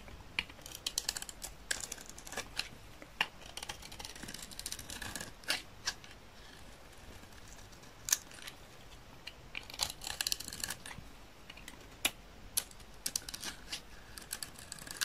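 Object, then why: Soap bar scraped with a utility knife blade. A utility knife blade scrapes thin shavings off a solid, dry green soap bar in repeated strokes. Many short, crisp, bright scraping clicks come in quick irregular bursts with almost no ring, over a quiet background.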